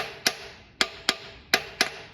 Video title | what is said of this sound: 1956 Chevy Nomad needs a 1956 265ci power pack barn find engine! | that sounds like I'm hitting right on. So that valve's stuck down.